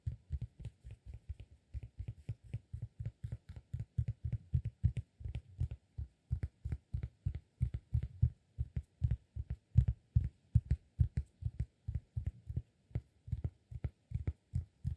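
A round, flat, solid cork disk is held in one hand while the fingertips of the other hand tap its face and edge. Dozens of rapid, soft taps produce dull, low thumps with faint bright clicks on top. Each tap stops almost instantly with no ring, giving a steady, quiet rhythm throughout.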